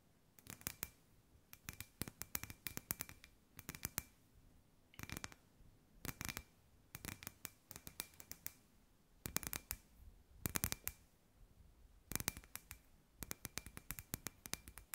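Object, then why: Hollow glass ball lamp. Long white nails tap and scratch a hand-sized, hollow, clear glass sphere lamp with fairy lights inside, held in both hands. Quiet bursts of sharp, dry clicks come in quick clusters with brief pauses between them. The clicks are bright, with a faint glassy tone and a little low body, and they die away almost instantly.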